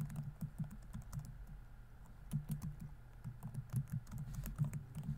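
Fingertips type fast on a laptop keyboard with plastic keys set in a thin, solid chassis. The result is a rapid, uneven patter of soft, low, dull clicks with very short decay and brief quieter gaps between flurries.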